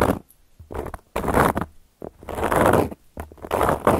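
Long gold metal claw nails scratch across a solid, round, flat cork coaster in a series of scraping strokes separated by brief pauses. The sound is a dry, grainy midrange rasp with a faint bright hiss.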